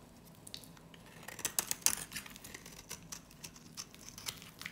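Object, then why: Hard soap bar with varnish rim scraped by a metal blade. A metal utility blade scrapes and shaves thin curls off a small, solid, cream-colored dry soap bar held in the hand, with remnants of a black varnish rim. Quiet, irregular, crisp scraping and crackling strokes are mostly high and bright, with a few louder bursts in the middle, and each stroke stops quickly with almost no ring.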